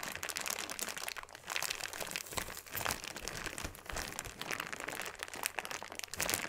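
A clear plastic bag full of small purple beads is pressed and rubbed with flat fingers, then lifted. It gives a continuous, dense crinkling and granular crunching, mostly bright and high, with soft swells in loudness and very little low end.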